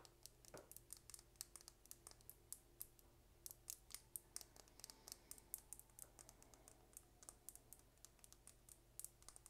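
A small, slim dark purple plastic lip gloss tube with a gold cap, hollow with gloss inside, is held in one hand and tapped rapidly with long red nails. The result is a quick, steady run of soft, bright clicks with almost no ring, over a faint, steady low hum.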